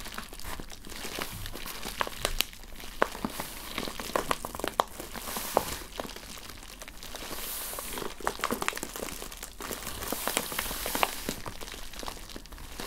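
Long painted fingernails and fingertips scratch and crinkle the surface of a flat, medium-sized yellow kraft-paper bubble mailer lying on a tablecloth. A steady run of dry paper crinkles and scratches is punctuated by short, sharp ticks with a bright hiss on top, each sound dying away instantly with no ring.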